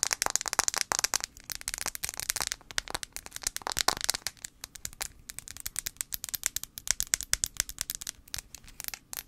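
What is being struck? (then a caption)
Smartphone glass screen. Long acrylic nails tap rapidly on the glass screen of a handheld blue iPhone 5c, a small solid device held screen-forward. The result is a dense, fast stream of sharp, bright clicks with almost no low end and no ring after each tap.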